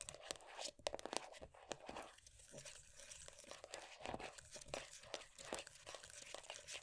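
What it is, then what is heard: Plastic moisturiser tub. Long dark nails tap and scratch the lid surface and rim of a closed, full, round plastic moisturiser tub. Quick, sharp clicky taps mix with dry, bright, crinkly scratching, with very little low end. Each hit stops almost instantly at a fairly quiet level.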